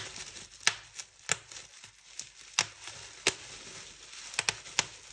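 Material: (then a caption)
Plastic. Fingertips pinch a fold of a large clear plastic bubble wrap sheet and pop bubbles. Several sharp, bright snaps stand out over a soft, steady crinkling of the plastic. Each snap dies away almost instantly, with two popping in quick succession near the end.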